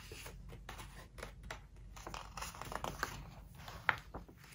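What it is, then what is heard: Glossy-paper hardcover book, pages turned and rubbed. Fingertips and long nails turn and rub the glossy paper pages of a large open hardcover book. Soft, crinkly rustles and swishes come in irregular bursts, with a brief sharper snap of paper near the end.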